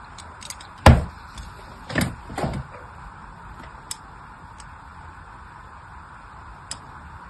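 A fine blade scratches parallel lines into a solid pink bar of soap held in the hand. A few short, dry scraping strokes stand out, the first the loudest, with faint ticks between them over a quiet hiss.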